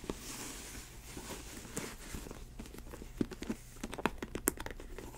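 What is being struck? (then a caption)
Synthetic leather ankle boot. Long white nails scratch and tap the snake-print synthetic leather upper of a faux snakeskin ankle boot, along its side and toe. A soft, steady scratching hiss runs throughout, broken by sharp, dry taps that grow more frequent and louder toward the end and die away almost instantly.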